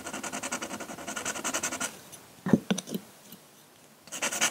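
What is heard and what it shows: A metal pen nib in a wooden holder scratches ink hatching strokes across a flat sheet of drawing paper resting on a table. A quick, steady run of bright, dry scratches plays for about two seconds, followed by a pause broken by a few louder, separate strokes. Then the rhythmic hatching resumes.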